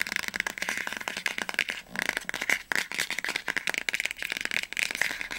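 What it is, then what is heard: Hardcover book spine tapped with nails. Long nails tap quickly on the spine of an upright orange hardcover book, making a rapid, dense run of short, dry clicks. The clicks are bright and crisp, centered around 2 kHz with almost no low end, and they pause briefly just before the 2-second mark before continuing.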